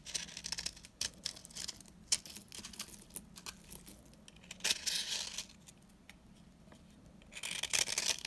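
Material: Soap.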